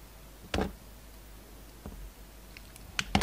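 A solid purple paisley soap bar is held in the hand and cut into thin slices with a utility-knife blade. Soft, crisp scraping cuts rise briefly over a quiet background, with a few short, sharp clicks near the end.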